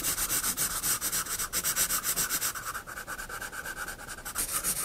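A pencil draws vertical lines on a sketchbook page, giving a steady run of bright, hissy scratching strokes. The strokes repeat at about four per second with a brief dip in the middle, and there is little low end.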